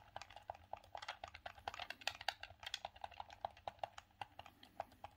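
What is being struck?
Hard plastic hand-held game controller.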